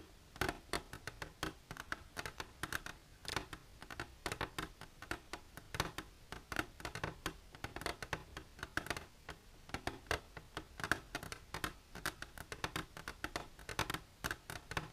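Long silver nails scratch and tap the walls of an empty, clear plastic container held upright. A steady, rapid stream of short, dry clicks and scratchy strokes is heard, each snapping off almost instantly. The sound stays bright and crisp throughout.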